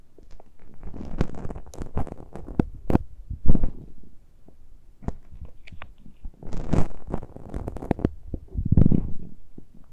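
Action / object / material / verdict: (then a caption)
scrape / metal mesh microphone grilles on a handheld recorder / metal mesh / none. Fingertips and nails scratch and touch the small X-Y microphone capsules with metal mesh grilles on a handheld Tascam recorder, uncovered. The result is dense, low, boomy rumbling and scraping, punctuated by sharp clicks and taps in uneven bursts, with scratchy high edges on the strongest contacts.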